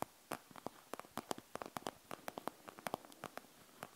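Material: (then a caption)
Plastic. Long nails scratch across the gel-bead surface of a panda gel bead eye mask with a plastic shell, producing a quick, uneven series of short, crisp clicks and ticks with bright, high edges. Each tick stops almost instantly, with faint quiet hiss in between.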